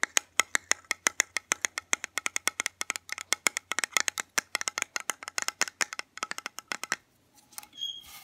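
A small, round, lidded metal soy candle tin filled with wax is tapped with fingernails on its lid and sides while being turned in the hands. Around fifty sharp, bright, dry clicks come in quick, uneven runs with almost no ring and no low end, over a faint low hum. The tapping stops just before the seven-second mark, and softer rustling and scraping follow.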